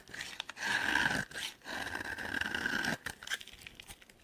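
A metal blade scrapes the surface of a solid, dry yellow bar of soap held in the hand, shaving it into flakes. Long, gritty scraping strokes give a crunchy, crinkling texture with a steady whistling tone around 1.7 kHz. Short scratchy taps separate the strokes.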